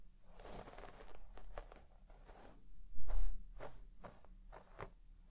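A white plastic comb is swept in fast strokes across the deep pile of a large red shaggy textile carpet, scratching and brushing the fibres. Repeated soft, breathy scratching swishes rise and fall in a steady rhythm, with one louder, rougher stroke near the middle before the strokes fade back to a quiet brushing.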